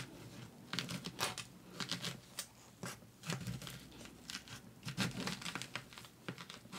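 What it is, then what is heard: Pomegranate rind being scratched. Long orange acrylic nails scratch and pick at the leathery rind of a whole, solid red pomegranate about the size of a fist, held in a gloved hand as if starting to peel it. Dry, crinkly scratches and bright crackling bursts come in quick clusters over a soft low rustle, each dying away almost at once.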